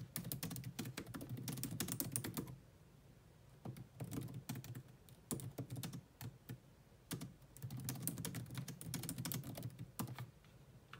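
Fast two-handed typing with long nails on a grey laptop keyboard with low-profile plastic keys. It makes dense bursts of light, clicky taps with a soft low thud, broken by quieter stretches of a few scattered keystrokes before the rapid tapping picks up again.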